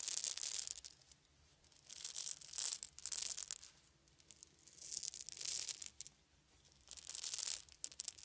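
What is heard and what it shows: A handful of small round wooden beads is poured and shaken in cupped hands, making repeated bursts of dense, bright, high-pitched clicking and rattling. Each burst is separated by brief near-silent pauses.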